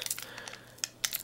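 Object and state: Knife loose in its sheath.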